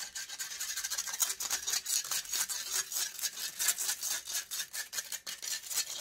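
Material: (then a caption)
Metal. Long acrylic nails scratch fast and aggressively across the hollow metal wire-mesh grille of a silver USB microphone. The result is a bright, hissy, rasping scrape in rapid, uneven strokes with almost no low end, each stroke cutting off quickly.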